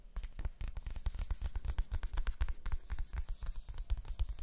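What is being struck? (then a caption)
Large flat cardboard box. A large, flat, hollow printed cardboard advent calendar box is held in front of the mics and tapped and scratched with long nails. Quick, irregular taps land as dull, hollow low thumps with almost no ring, while faint dry scratching crackles between them.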